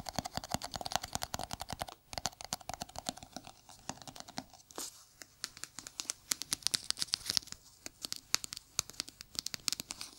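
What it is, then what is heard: Small plastic jar tapped with fingernails. A small, round, hollow white plastic jar held in a gloved hand is tapped rapidly with bare fingertips and short nails. The result is a dense stream of sharp, dry, bright clicks with almost no low end and no ring, with a brief lull around two seconds before the tapping resumes.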